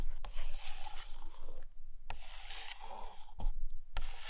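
Long nails tap and trace along the glossy paper pages of an open hardcover photo book resting on a carpet. Soft, dry scratching and rubbing strokes are broken by a few sharp taps that carry a dull, low thump from the book underneath.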